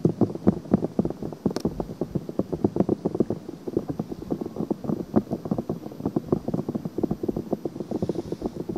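Long painted nails scratch a white silicone ear-shaped cover, a soft hollow ear shape, on a black binaural microphone. They make a fast, uneven run of short, dry, muffled scratches, about four a second. The scratches sit in the low and middle range with almost no bright top.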